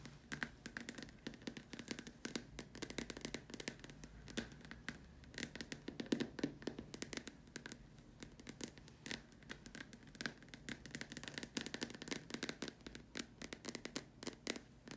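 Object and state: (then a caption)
Plastic lamp shade tapped with nails. Long dark nails tap rapidly around the top opening and upper surface of a large, hollow white plastic dome lamp shade. The result is a dense stream of short, dry clicks and knocks with a hollow mid-range tone and bright, crisp edges. Each tap dies away almost instantly.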